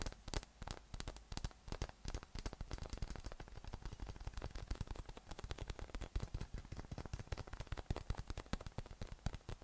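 A yellow, hollow, inflated soft PVC spiky massage ball with nubs, about 20 cm across, is held in one hand and tapped with the fingertips of the other hand. The taps come in a rapid, uneven stream of short, dull, low thumps with slight crackly edges. Each one dies away almost instantly.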